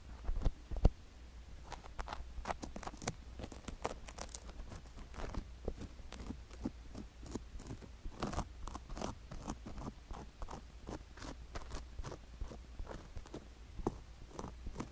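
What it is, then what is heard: Sugar-coated silicone ear scraped with a wooden stick. A wooden stick scrapes through the inner folds of a sugar-coated silicone ear microphone, producing quick, irregular crunching and gritty scratching bursts with a couple of sharper pops near the start. A steady low hum sits underneath throughout.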